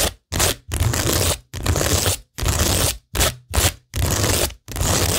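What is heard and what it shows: Long nails rub and scratch across a framed cork tingle board covered in rhinestone mesh and pearl stickers, its surface flat and solid. Nine separate strokes of bright, gritty scraping follow one another, each with a low rumble beneath it and short silent gaps between them.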